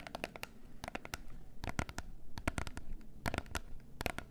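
Long nails tap and scratch the faces of a small, closed, gold cardboard face mask box. Quick clusters of sharp, dry clicks flash bright across the range and stop almost instantly, with soft scratchy rustling and a low murmur beneath them.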